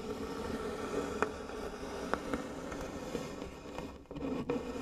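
Fingertips and long nails scratch and rub the engraved lid of a medium, light-colored wooden box that is likely hollow. A steady, dry scraping with a warm midrange tone around 430 Hz runs throughout, broken by five brief, sharp nail clicks that stand out above the rubbing.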